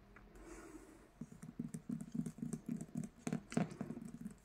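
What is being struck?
Paperback book with printed card cover.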